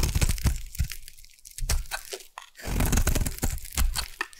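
A solid pink bar of soap is carved with a metal blade. Crunchy, crackling shaving sounds with deep low thumps come in quick bursts. A short, near-silent pause falls in the middle.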